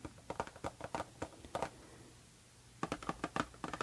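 Long painted nails tap on the front of a small, hollow pink printed cardboard Harajuku Lovers perfume box standing upright. Quick, dry, hollow taps with a soft papery knock come in brisk runs, broken by a pause of about a second, and each tap dies away almost at once.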